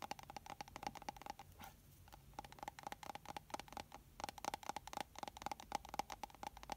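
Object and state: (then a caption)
Glass bottle with plastic cap tapped with nails. A small liquid-filled glass foundation bottle with a black plastic cap is held in both hands and tapped with long nails and fingertips on the glass and the cap. Quick, light clicks and taps ring with a bright, faint tone around 830 Hz. They come in dense runs with a brief quieter pause near the two-second mark.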